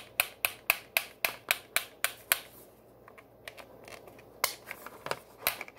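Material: Plastic.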